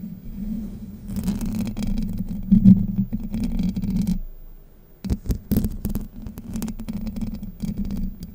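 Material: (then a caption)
Steel mesh. Long white nails scratch across the hollow domed steel mesh grille of a Blue Yeti microphone, producing a deep, boomy rasping rumble with faint brighter scratchy edges. The scratching runs steadily, dies away briefly near the middle, then returns with sharper, choppier scrapes before settling back into continuous rubbing.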